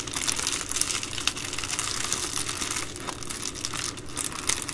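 An empty Amazon Prime poly bubble mailer is folded and pinched along its plastic edge by hands with long nails. The result is a steady, dense, bright crinkling with brief sharper crackles scattered throughout.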